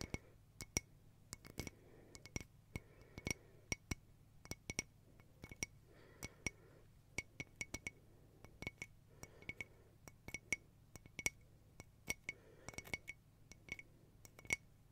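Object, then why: Mosaic glass tea light holder. Long painted nails tap a round, hollow silver crackle mosaic glass tea-light holder with a lit candle inside, held in one hand. Many quick, bright glassy clinks ring at a high pitch over a faint low hum, each dying out almost at once.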